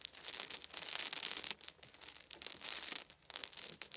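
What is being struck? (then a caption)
Small wooden beads. Cupped hands gather and pour small solid wooden beads onto a fluffy blanket. It makes a quiet, dense, high clicking rattle that comes in swelling waves with short pauses, and there is almost no low end.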